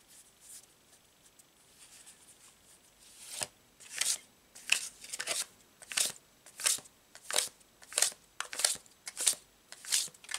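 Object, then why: Deck of paper cards. A paper tarot card deck is split and shuffled between two hands, the cards sliding and snapping together. Soft, faint rustling gives way to a steady series of crisp, bright riffling bursts, repeating about every two-thirds of a second with quiet gaps between.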